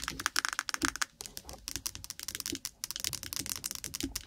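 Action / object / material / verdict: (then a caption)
tap / small lidded plastic jar / plastic / none. A small, lidded, apparently full 100 g white plastic jar of Vaseline petroleum jelly is held close to the microphone and fast-tapped with long acrylic nails on its lid and sides. The result is rapid, dense volleys of bright, dry clicks that stop dead with no ring. There are brief gaps between bursts.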